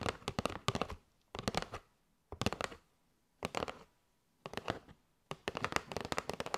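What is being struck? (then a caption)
Cardboard box of paper straws. Long nails tap quickly on a kraft cardboard box with a window, full of paper straws. The taps come in six short bursts of crisp, dry clicks separated by brief silences. Each tap is a sharp, papery knock with almost no ring, and the last burst runs longer.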